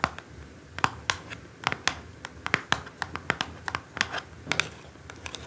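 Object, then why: Small cardboard perfume box. A small orange cardboard perfume box on a table is tapped with a single long nail, then scratched and tapped with several long nails while held. About two dozen sharp, dry clicks and short scratches ring out over a faint hiss, each ending almost at once with a bright, papery edge.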